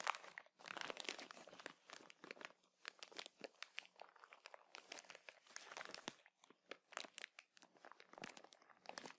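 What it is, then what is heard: Plastic bag of cotton swabs. A clear plastic bag full of cotton buds is held in both hands and squeezed, crinkled and scratched with painted nails. The result is a quiet, steady stream of dense, bright crinkling and crackling bursts with short pauses, each crackle dying away almost instantly.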